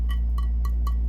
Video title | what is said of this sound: Bisque kiln unloading. 8/10/26. | Hear that sound? They're good.